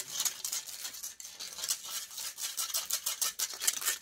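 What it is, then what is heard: Metal microphone mesh grille scratched. Long grey nails and fingertips scratch and rub the hollow metal mesh head of a silver microphone. The result is a fast, continuous run of bright, hissy scraping strokes with almost no low end, each rasp dying away at once.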